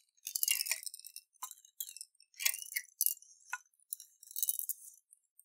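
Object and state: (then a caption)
Glass jar holding water and beads. A clear glass jar with a silver lid, partly filled with water and beads, is turned and shaken in both hands with fingertips on the glass. Bright, high clinks and rattles of beads against glass come in quick bursts with soft watery swishes. The sound is thin and crisp, with no low end, and each tap dies away almost at once.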